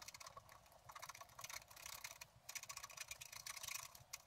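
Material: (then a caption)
Coated paper. A wooden stylus scratches the root area of a thin, flat, black-coated scratch art paper sheet, scraping off flakes of the coating. The result is a quiet run of dry, bright, papery scratching strokes that come in quick, uneven bursts with almost no low end.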